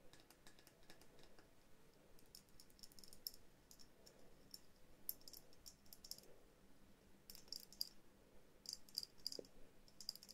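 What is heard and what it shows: Long nails tap and scratch a small hollow glass bell jar ornament with a jute base, held up close. Quiet, quick, bright ticks and clicks come in irregular bursts over a soft scratching hiss, each tap dying away almost at once with a faint high glassy edge.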